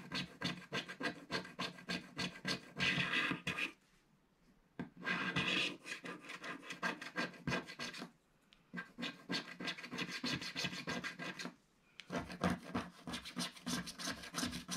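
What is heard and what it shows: A thin wooden stick scrapes a black area of a flat, black-coated scratch-art paper page in repeated strokes. The result is a quick, bright, dry scratching rhythm of about three strokes per second. It is broken by brief silent pauses around 4, 8 and 12 seconds.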